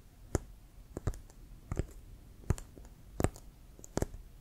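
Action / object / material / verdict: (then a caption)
tap / leather American football / leather / none. Fingernails tap and scratch the pebbled surface of a hollow, inflated brown leather American football with a white stripe, held near the shoulder. Short, dry clicks with a dull, low thump come in irregular single and double taps. Faint scratching fills the gaps between them.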